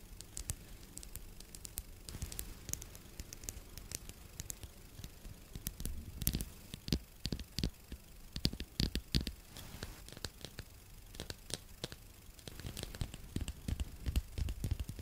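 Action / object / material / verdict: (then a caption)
tap / small wooden spoon / wood / none. Long nails tap and scratch the polished bowl and the handle of a small solid wooden spoon held beside the microphone. Quiet, rapid crisp ticks and dry scratching textures come in uneven bursts over a soft low rumble, growing busier toward the end.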